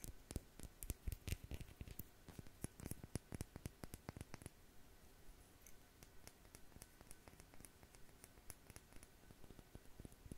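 Long nails tap and scratch the black cap and glass body of a small amber/dark glass dropper bottle with a blue label, held upright. Quick, dry clicks and taps come densely and louder for the first few seconds, then give way to softer scratching with lighter, scattered taps. Each tap dies away almost instantly, with no ringing.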